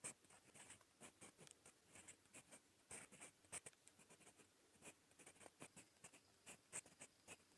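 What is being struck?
Metal fountain pen nib on notebook paper.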